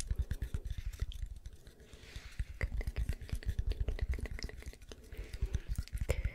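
A round, solid-wood log-slice coaster with visible growth rings, held in the hand, is tapped and scratched on its ringed face with long nails. Quick, dry, woody taps come in dense irregular runs, with soft scratching between them. The clicks are short and deep and die away almost at once.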